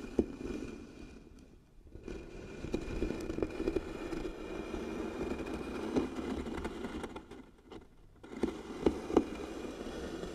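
Long nails scratch and tap across the engraved lid of a medium, light-colored wooden box that is likely hollow. The result is a steady, dry scraping rasp centered in the low-mids, broken by sharp tapping clicks and two brief quiet pauses.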